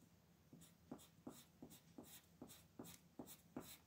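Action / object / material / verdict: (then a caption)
scrape / colored pencil on paper sheet / paper / none. A red colored pencil shades across a flat paper coloring page on a table, held down by the other hand, in quick back-and-forth strokes. About eight scratchy strokes sound at a brisk, slightly uneven pace, each a soft low-mid scrape with a bright, hissy top that fades quickly.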